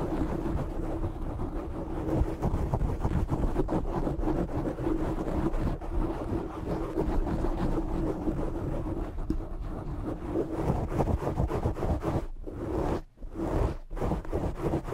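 Short nails on both hands scratch and rub the black foam windscreen of a desk microphone, producing a dense, close, low-heavy crackling rumble with a faint steady hum. The scratching runs continuously, then briefly drops out and resumes a few times near the end.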